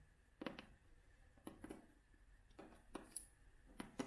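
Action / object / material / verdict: tap / cloth-covered hardcover book / cloth, board / none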